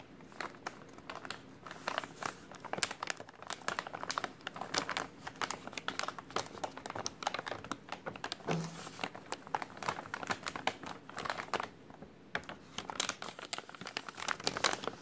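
A hand squeezes and crumples a white translucent plastic takeout bag printed with a restaurant menu from below, the bag appearing to hold soft contents. Dense, crisp crinkling runs steadily through the clip, with sharp bright crackles standing out above a soft rustling bed and little low-end weight.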